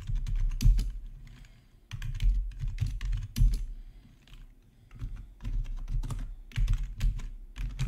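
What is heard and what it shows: Fingertips type quickly on a black plastic RGB backlit gaming keyboard, producing bursts of rapid key clacks with a deep, low thump beneath each press. The typing comes in uneven runs separated by brief pauses, each keystroke short and dry with little ring.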